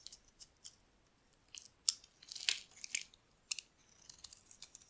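A metal utility blade scrapes shavings off the surface of a solid, dry bar of soap held in the hand, the bar now mostly white where it has been carved. Quiet, crisp, bright scraping and shaving bursts come in irregular short strokes, with almost no low end and no ring after each stroke.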